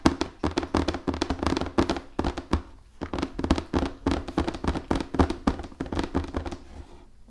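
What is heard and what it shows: A large, hollow cardboard Risk board game box, held upright and then flat, is tapped rapidly with fingernails on its printed surface and edge. The result is a quick, uneven run of short, dry taps, each with a hollow, boxy thump that dies away almost at once.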